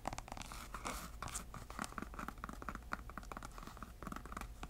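A grey canvas Sperry shoe with a white rubber sole, hollow and empty, is held in the hand while long nails scratch along the canvas and the sole edge. Quiet, rapid, dry rasping strokes centered in the midrange come and go over a steady low hum, each stroke short with almost no ring.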